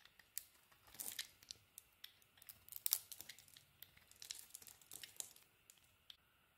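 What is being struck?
Bar of soap carved with a knife.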